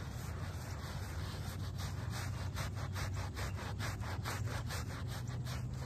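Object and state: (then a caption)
Shag-pile fabric rug being scrubbed. A small wooden-backed brush scrubs a very dirty, muddy shaggy fabric doormat, a small foamy shag-pile textile rug, with quick back-and-forth strokes. The scrubbing makes a steady rasping, sawing-like sound over a constant low rumble, and the bristle passes come through as brighter swishes throughout.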